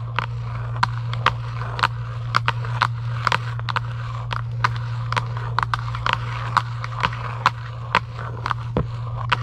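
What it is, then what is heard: Cardboard game box. Long acrylic nails scratch quickly over a hollow Giant UNO cardboard game box lying flat. The result is a rapid run of sharp, dry, bright scratches and clicks over a steady low hum.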